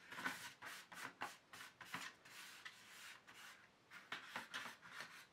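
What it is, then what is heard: Empty plastic paint tube tray. Fingertips rub and scratch across the base of an empty black plastic paint tube tray and along the edges of its tube slots. The result is a run of dry, raspy scraping strokes, some short and some drawn out, with bright, hissy texture and almost no low end.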